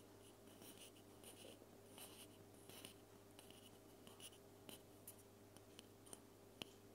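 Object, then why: Metal aerosol spray can. Long painted fingernails scratch and tap along the side of a small, hollow, white-and-green cylindrical metal aerosol spray can held upright in one hand next to the recorder. Soft, gritty scratching with a bright edge is broken by a series of short, sharp taps with a faint metallic tone near 3 kHz. A steady low hum runs underneath throughout.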